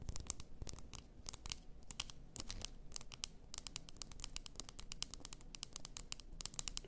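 Long nails tap and scratch the shoulders and neck of a large bottle, apparently glass, full of pink bath salt. The result is a quick, uneven run of short, bright clicks with faint scratchy rasps over a low, soft rumble.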